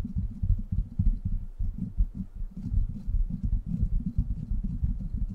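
Fingertips and short nails scratch and tap the hollow, rounded steel mesh grille of a silver microphone, producing a dense run of dull, muffled thumps and rubbing. The sound is almost entirely deep and boomy, with no brightness, and the taps die away almost instantly.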